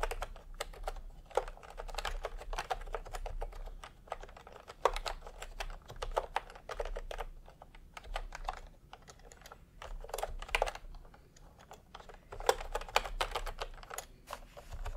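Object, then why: Plastic keyboard keys. Bare fingertips of both hands type fast on a full-size pastel plastic retro keyboard with round plastic typewriter-style keycaps, resting on white fabric. A steady stream of dense, short clicky key presses comes in bursts, with a low hum underneath.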